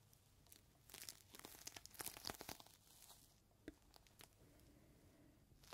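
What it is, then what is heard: Plastic zip bag with cloth inside. A clear plastic zip bag with a rolled green microfiber cloth inside is held between both palms while fingertips squeeze and rub it, crinkling the plastic. Bright, sharp crackles and crinkles come in quick bursts, densest and loudest in the middle. They then thin out to softer rustling with a few isolated snaps.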